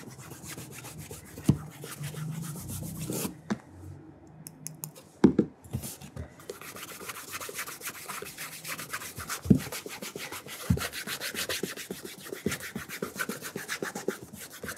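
Bare fingertips rub the upper of a burgundy leather oxford dress shoe held up in the hand. A steady, soft, dry rubbing hiss made of many quick fine strokes continues throughout, broken by a few sharper bumps and taps.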